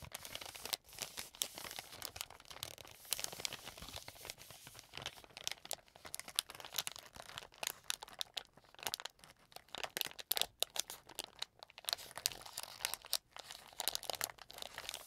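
A hand-sized, soft green-and-white plastic film wet wipes pack, filled with wipes, is held in both hands and squeezed and crinkled with fingertips and painted nails. The result is a steady stream of bright, crisp crackling and crinkling with short tearing-like bursts. There is almost no low end.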